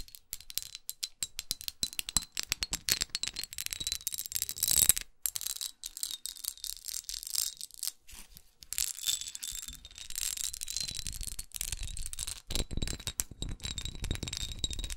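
Long acrylic nails tap and scratch the textured sides of a small red studded glass perfume bottle with a dark neck, held in the hand. Rapid, dense, bright clicks sound with very short decay, interspersed with stretches of steady scratching and a faint high ringing tone.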